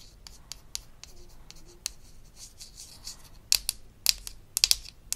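Long acrylic nails scratch and tap a small, round, pink-labelled plastic "Tooth Polish" pod from a Melissa and Doug Super Smile Dentist Kit, held in the hand; the toy pod is hollow and apparently empty. Soft, bright, hissy scratching fills the first few seconds, broken by light clicks. It then gives way to sharper, dry, high-pitched plastic taps that stop almost instantly.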